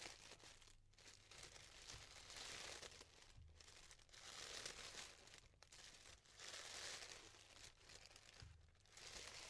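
A yellow tissue paper flower is held in the hands while the thin layers are pulled apart with fingers and nails. This produces a steady stream of soft, bright crinkling and rustling, interrupted by brief pauses.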